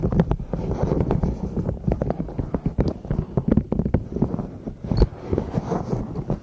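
A palm-sized pastel pink, purple and yellow silicone pop-it zipper pouch with hollow bubbles is held above microphones while long nails tap and scratch across the bubbles. A dense run of quick, dull, muffled taps mixes with soft scratchy rustling, weighted toward the low end with almost no bright content. Each tap dies away instantly with no ring.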